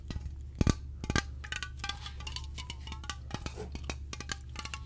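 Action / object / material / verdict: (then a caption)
tap / aluminium aerosol can / aluminium / none. A slim, hollow aluminium aerosol air freshener can with a white and orange label is held in both hands and tapped with the fingertips and nails. Quick, irregular metallic taps and clicks ring briefly with bright, chime-like overtones over a steady low hum, with a few louder knocks near the start.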